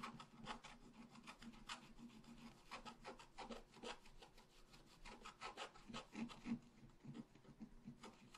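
A wooden stylus scratches out a tree trunk on a flat black-coated scratch art paper sheet with repeated strokes. Each stroke makes a short, dry, rasping scrape with a bright edge, coming in a steady, uneven rhythm, with a faint low tone running beneath the strokes throughout.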